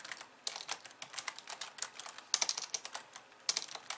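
Long painted nails type and click on the white keys of a hollow, pink-framed plastic computer keyboard resting on a wooden desk, later with one hand only. Quick, crisp, bright clicks come in irregular bursts with almost no low end, each tap dying away almost instantly.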